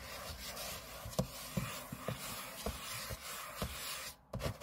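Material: Aluminium.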